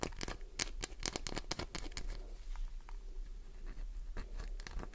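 Long nails scratch the shaving-covered surface of a solid green glycerin soap bar held in the palm. The result is a fast run of dry, crackly scrapes and taps with bright, crisp edges over a low, steady hum. The scrapes cluster densely at the start and again near the end, with softer scratching between.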